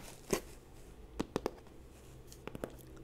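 Long painted nails and fingertips scratch and tap the printed surface of a large, flat, hollow FabFitFun cardboard subscription box held upright close to the mic. Several short, crisp, crunchy taps with a hollow midrange knock stand out from a quiet, faintly scratchy background, each dying away almost at once.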